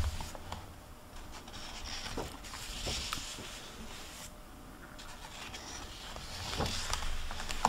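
Fingertips with long painted nails rub and turn the paper pages of an open hardcover library book with a plastic-covered dust jacket, lying on a wooden table. Soft, bright paper rustling and scraping swells and fades, with faint low rumble underneath and a few short crisp ticks as pages shift, growing a little louder near the end.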